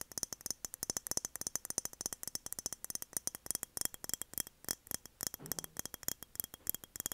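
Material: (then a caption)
Glass. Rapid, light tapping on a glass mason jar produces a dense run of short, bright clicks with almost no ring and very little low end. The taps come in quick irregular bursts throughout, with a brief soft rustle near the middle.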